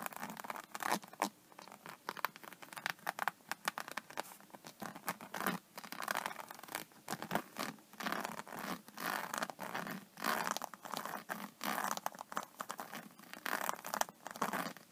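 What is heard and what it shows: Long painted fingernails scratch across the raised scales of a flat iPad case covered in holographic, iridescent embossed faux snakeskin synthetic leather, lying flat. The sound is a dense run of quick, dry, crisp scratches and rasps, centered in the midrange with a bright edge. Each stroke stops dead with no ring.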